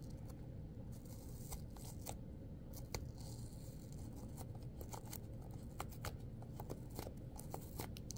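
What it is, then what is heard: Apple flesh scraped and torn. Long, pointed acrylic nails scrape and tear crisp flesh out of a red apple whose top has been torn open, dropping small chunks onto a paper towel. Quick, bright crunching snaps and tearing scrapes crackle over a steady low rumble throughout.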